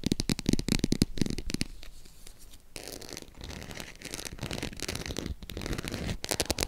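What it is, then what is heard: Faux leather embossed purse. Long acrylic nails tap and scratch along the embossed scales of a green croc-embossed faux leather zip purse. Quick, irregular clicky taps at the start and end frame a stretch of softer, continuous scratching in the middle, with a dry, bright texture and no ring.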